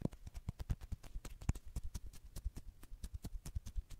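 Fingertips and long nails rapidly tap and scratch the head and torso of a hollow white plastic human acupuncture doll, about 30 cm tall, held close to the microphone. About 27 quick, dull, hollow knocks follow one another in a steady patter. They are deep and thumping, with short bright clicks on top and almost no ring.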